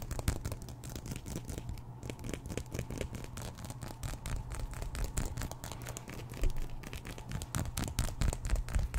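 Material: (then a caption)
Plastic. A small, solid black plastic comb is held close to the microphone while fingertips and nails run along its teeth, scratching and strumming them. The result is a dense, steady stream of quick, dry clicks with a constant low rumble underneath, getting slightly louder near the end.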